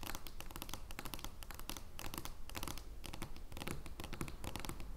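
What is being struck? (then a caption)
Large thin card-stock playing card on a wooden table. Long nails tap and scratch an oversized joker playing card of thin card stock lying flat on a wooden table. Quick, irregular taps with soft low thuds mix with crisp, bright, papery scratching throughout.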